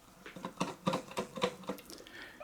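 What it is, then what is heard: Loose transformer rattling inside a pre-amp case. A newly received C3850 clone pre-amp is shaken in its box, and its mains transformer, which has come loose inside, rattles. The result is a quick series of short, dull knocks and clunks with a mid-range tone around 500 Hz and very little ring. The rattle is a fault, not normal for the unit.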